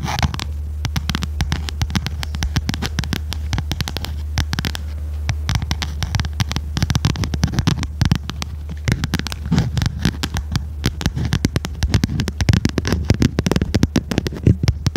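A small red notebook with a cardboard cover and metal spiral binding is held upright while its cover is tapped and scratched with long red nails. Dense, rapid dry taps and scratchy rustles run continuously over a steady low hum, growing slightly louder and more irregular toward the end.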